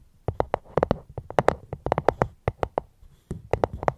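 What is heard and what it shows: A fruit box is tapped right at the microphone in a gentle, irregular rhythm of 19 short, dry taps with a hollow mid-pitched knock around 490 Hz. The taps die away almost instantly, with a brief quiet gap near the three-second mark before the tapping resumes.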